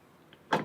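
A metal suspension strut on a BMW M4, with its top mount nuts backed off during a camber plate install, is banged on by hand: a faint tap, then one louder, short hollow knock that fades quickly. The knock shows the strut now has play and is loose in its mount.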